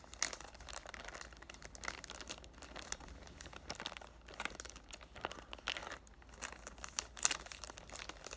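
Fingertips with short nails crinkle and rub the loosened clear cellophane wrap near the top of a cardboard perfume box held in both hands. Dense, bright crackling rustles come in irregular bursts with a few sharper snaps, and the low end stays quiet throughout.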